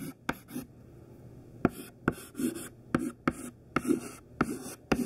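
Thin white classroom chalk, held mostly hidden in the fist, writes capital letters on a black chalkboard. Each stroke begins with a sharp tap and ends in a short, dry scratch. The strokes come in quick bursts separated by brief, quiet pauses.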